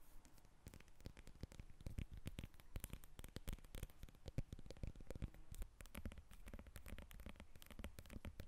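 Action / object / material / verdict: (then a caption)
scrape / lemon rind / citrus peel / none. A whole yellow lemon is held in the hands and then set on a table while long nails scratch and tap its rind. The result is a quiet, dense run of short, dry taps and scratches with a soft, low body and faint bright crackle, with no speech.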